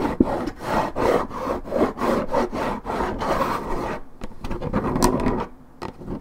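Long nails scratch and rub the top of a hollow Minute Maid orange juice carton made of coated paperboard. A steady run of dry, raspy scraping strokes fills the first four seconds. Sparser, lighter scratches with brief quiet gaps follow.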